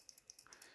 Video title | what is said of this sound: BIC PENCIL #2-A PENCIL FOR BORING PEOPLE THAT KILL TURTLES. | only thing you can hear are the leads